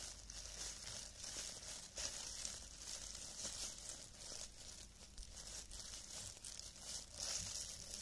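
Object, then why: Thin clear plastic film gloves. Thin, clear cellophane plastic gloves are worn on both hands while the fingers flutter and rub, crinkling the loose film. The result is a quiet, continuous, bright crinkle and crackle, concentrated in the high range, with small swells and sharper snaps throughout.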